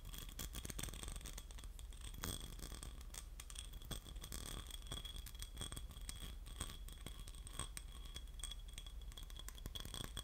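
A small, hollow, empty, clear ribbed glass votive holder, held in both hands, is scratched and tapped with short fingernails and fingertips. The result is a steady, dense scratching texture with scattered sharp, quickly fading taps. Faint bright, ringing tones sit above a low rumble.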